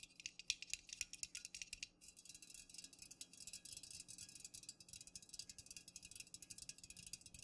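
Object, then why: Aluminum drink can. Fingernails tap rapidly around the top and sides of an unopened, full, upright Pepsi aluminum can. The taps are quick, bright and clicky, sitting high in pitch with almost no ring. They are sharper and more spaced for the first two seconds, then settle into a denser, steady patter.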